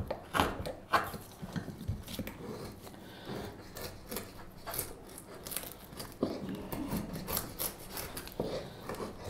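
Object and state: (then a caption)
Wooden spoon blank being whittled. A straight steel knife held in a gloved hand whittles a solid light wood spoon blank with repeated shaving strokes. Irregular, dry rasping scrapes come one after another, with a few sharper cuts near the start and around the middle. Each stroke dies away almost at once.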